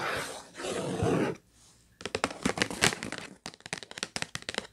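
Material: Cardboard.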